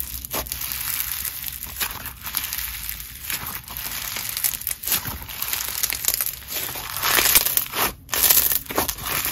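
Red, grainy crunchy snow fizz slime is stretched into lacy sheets and squeezed into a ball with both hands. It gives off a steady stream of bright, crisp crunching and crackling with fine fizzy rustle, swelling louder toward the end.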